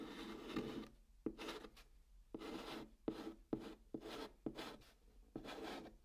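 A white chalk stick writes on the flat top of a brown cardboard box. The result is a series of dry, raspy scratching strokes, each a broad hiss reaching bright highs, with sharp little taps where the chalk meets the board between short pauses.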